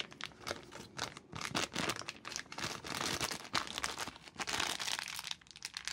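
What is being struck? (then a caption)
Plastic film sweet packet. Gloved hands crumple and squeeze an empty orange plastic film Jelly Babies sweet packet into a small ball. Dense, bright crinkling and sharp crackles continue for the full six seconds with little low end. The crackles cut off almost instantly rather than ringing.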